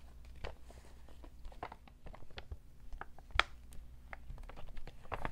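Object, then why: Paper shopping bag. A medium-sized, hollow, empty cream NBA Store paper shopping bag printed with basketballs, with rope handles, is unfolded, crinkled and tapped with fingertips and short nails. Dry, crisp paper crinkles and short, sharp taps scatter across the clip, with one louder, brighter snap partway through. A steady low hum sits underneath.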